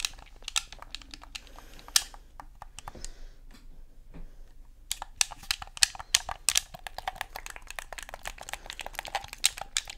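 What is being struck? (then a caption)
Hard plastic game controller. Thumbs and fingers press and click the buttons of a black Xbox controller and tap its hollow, hard plastic shell. A quick run of sharp, bright plastic clicks and taps thins out to near quiet for about a second, then returns as a denser, more rapid stream of crisp clicks.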